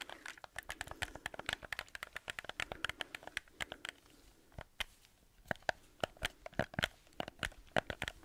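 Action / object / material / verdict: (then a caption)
tap / hollow plastic game controller / plastic / none. Fingertips and nails tap and scratch the shell, buttons and grips of a black hollow plastic PlayStation controller held up in both hands. The result is a rapid run of dry, crisp clicks and crinkly scratches, each dying away instantly with no ring. The sound thins to a brief quieter stretch just before the five-second mark, then the sharper, louder taps resume.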